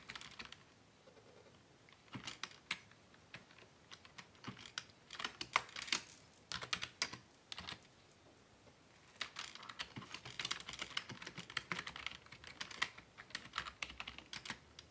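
Both hands type with fingertips and short nails on the keys of a black plastic Dell desktop keyboard, a hollow body with keys, resting on a wooden desk. Bursts of quick, bright, clicky key taps die away almost instantly, with brief pauses near the start and midway before the typing picks up again.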